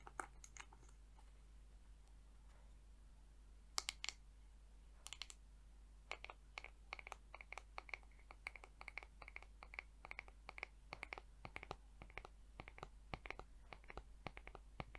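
Long acrylic nails tap and scratch the back of the head of a mint-green plastic paddle hair brush with multicolored plastic bristles, held in hand. A few scattered clicks open the clip, then a quick, steady run of sharp, dry, bright taps with almost no ring continues to the end. A constant low hum sits underneath throughout.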